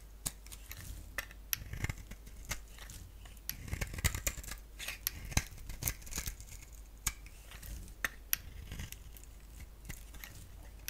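A solid pink-striped bar of soap, held in the hand, is scraped and shaved with a box-cutter blade. The result is a quiet run of crisp, bright scraping strokes and sharp little clicks, with soft rasping between them over a faint low hum.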